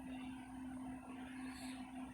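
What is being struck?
Nothing is struck.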